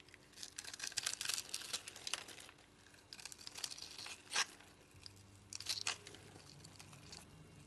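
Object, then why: Bar of soap scraped with a blade and crumbled by hand. A utility knife blade scrapes grid-cut cubes off a solid white soap bar with a striped edge held in the hand, making bright, crisp scraping and crunching bursts with quiet gaps between them. Near the end, fingers crumble pieces away with softer crumbling crunches.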